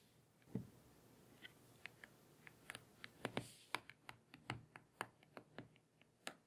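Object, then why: Glass tablet touchscreen. Long painted fingernails tap and scratch on the glossy glass touchscreen of a small tablet lying face up on a table. About nineteen quiet, sharp, bright clicks come at an uneven pace, each dying away at once, with a soft scratch and low hiss between them.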